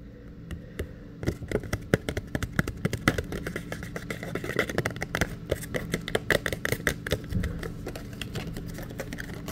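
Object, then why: Thin printed photo paper. Fingertips and nails tap and scratch across the surface of a small, thin, flat printed paper photograph held in both hands close by. Many dry, crisp clicks and scrapes rise out of a low steady hum, growing denser and brighter as the tapping picks up, with short upper-mid crackles over a low rumble.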